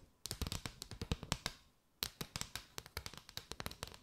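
Long nails tap and scratch quickly along a mat of hollow, chevron-patterned paper straws curved over the microphone. The sound is a rapid run of short, dry, bright clicks with a faint hollow low thump. The clicks come in two bursts separated by a brief quiet pause near the middle.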